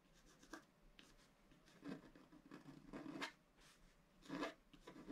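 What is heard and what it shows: A wooden stylus scratches an antler drawing into a flat scratch-art card of black coated paper, in a few sparse strokes. Each stroke is a short, quiet, dry scrape with a bright rasp, separated by near-silent pauses.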